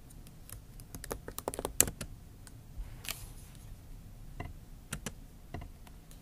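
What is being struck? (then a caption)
Laptop keyboard, plastic keys in aluminium body. Long acrylic nail tips type and tap on the plastic keys of a MacBook Pro backlit keyboard set in an aluminium body. Quick, light, bright clicks come in a dense flurry early on, then thin out into scattered single taps over a faint low rumble. Each click stops almost instantly, with no ring.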